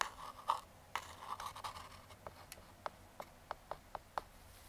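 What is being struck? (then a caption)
Small cardboard box scratched with a metal fingertip pick. A metal claw fingertip pick scratches along the surface and edges of a small, closed, brown kraft cardboard box. It makes a dry, papery scraping for the first two seconds, followed by a series of short, crisp ticks with a midrange tone.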